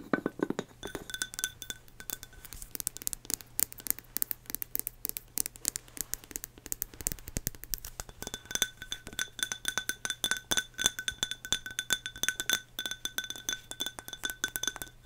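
Long nails tap rapidly on a hollow, medium-sized pink ceramic canister labeled "Sweet Pea" with a knobbed lid. The sound is a quick stream of sharp, clicky clinks with almost no ring. A bright glassy tone sits near 3.5 kHz with a fainter one around 1.5 kHz.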